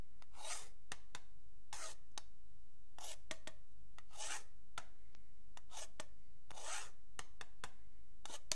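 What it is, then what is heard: Pen tip scraping a wooden ruler. A metal pen tip scrapes along the marked edge of a long, flat, solid wooden yardstick while fingertips rest on it. Bright, raspy scraping strokes alternate with sharp, high ticks as the tip catches on the markings, over a steady low background.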